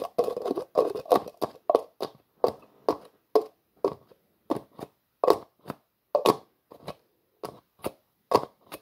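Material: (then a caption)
Plastic. A translucent plastic jar with a black plastic screw lid is held in both hands while the lid is twisted back and forth repeatedly. This makes a quick series of short, dry, raspy plastic scrapes and clicks, centered in the midrange with faint high edges, each stopping abruptly with no ring.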